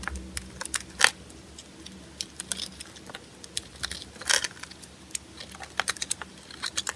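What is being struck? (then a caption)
Bar of soap cut with a small blade. A small blade with a yellow handle cuts and scrapes shavings off a solid white oval bar of soap held in the palm. The result is an irregular run of short, dry, bright clicks and crisp scrapes, with a few louder, longer scraping strokes over a quiet, low hum.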